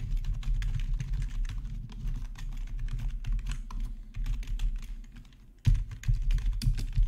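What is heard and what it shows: Two hands type with their fingertips on a black plastic RGB backlit gaming keyboard resting on a marble surface. It makes a steady stream of quick, deep, thumpy key presses with clicky high edges. The typing thins out briefly near the end, then resumes louder.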